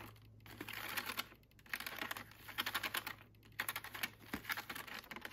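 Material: Plastic.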